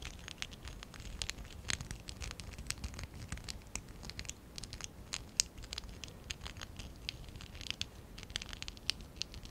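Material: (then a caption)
ABS plastic. A small stack of hollow pink and dark blue ABS plastic bricks from the Lego Classic 11017 set is held in both hands while fingertips and short nails rub and scratch their studs and sides. Dense, quick, bright clicking scratches and crinkly rustles follow one another over a low background rumble, each one dying away instantly.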